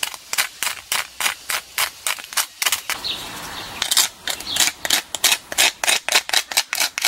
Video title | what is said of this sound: Köstliche gegrillte Schweine Krusten. 🍖 | listen to how crispy they turned out!